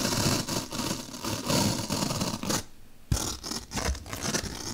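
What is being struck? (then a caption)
Melamine foam block. A large, solid white melamine foam magic eraser block is poked and scraped along a slit with a bottle brush held by long-nailed fingers. Dense, bright scratchy scraping and rubbing fills the clip, broken by a brief near-silent pause before a sharp poke restarts the friction noise.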